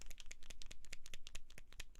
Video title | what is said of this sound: My Top 10 Dollar Tree Craft Supplies | you hear that there's a mixer you shake it